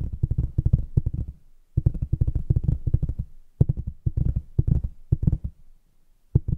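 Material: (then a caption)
Cardboard. Long acrylic nails tap rapidly on the top of a large, flat, hollow printed cardboard box lid for a keyboard kit. The result is quick runs of dull, low, hollow thuds that stop dead with no ring. The runs are broken by short pauses, and a final tap comes after a quiet gap.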